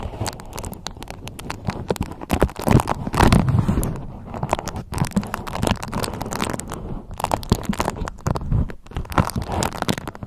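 A pale yellow beeswax-coated cotton food wrap is bunched up and crumpled between fingers and palms while long nails scrunch and rub the waxy fabric. The result is a dense, continuous run of soft crackles and crinkly scrapes over a low, muffled rustle, with short bursts swelling louder and brighter before easing off.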